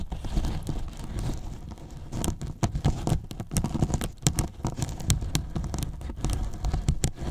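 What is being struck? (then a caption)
Polyethylene foam box. Fingertips and short nails scratch and pick at the top edge of a large, hollow white polyethylene foam box. The result is a dense run of dry, crackly scratches and quick taps, mostly low and boomy with brief bright clicks.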